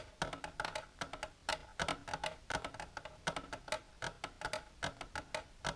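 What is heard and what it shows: Long natural nails with silver polish tap an empty, hollow, rectangular clear plastic tray-like container with a divided compartment, held on a blue surface. The result is a quick, irregular series of crisp, hollow clicks with a bright edge, a plasticky tone around 630 Hz, and almost no ring after each tap.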